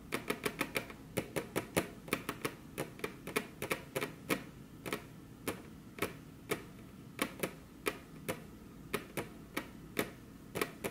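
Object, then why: Wooden table top tapped with fingernails. Very long curved fingernails on crossed hands tap their tips against a flat, solid, glossy dark-brown wood-grain table top. About 36 sharp, dry, bright clicks come in quick uneven clusters with brief pauses, each dying away almost instantly over a faint low hush.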